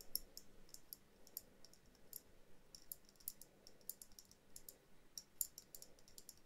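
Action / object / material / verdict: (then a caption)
tap / small glass dome ornament / glass / none. Long dark-blue nails tap and scratch a small hollow glass dome ornament, a bell jar with a Christmas tree, snowflake stickers, a jute-wrapped base and a twine hanger, held in both hands. A quiet, irregular stream of short, bright clicks and ticks is heard, each dying away almost instantly, over a soft low background rumble.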